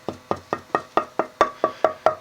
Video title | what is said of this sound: Luthier Wood Review: Cherry for Guitar Bodies Necks Tops Tonewood | this piece is actually pretty resonant